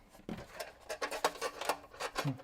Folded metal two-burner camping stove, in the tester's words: There's a little rattle in there.